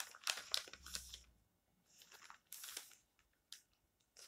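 Fingertips rub and lift the thin printed pages of an open paper magazine, showing a coronavirus article spread, as it lies flat on a stack of magazines. Bright, crisp rustling and crinkling come in short, uneven bursts separated by near-silent pauses.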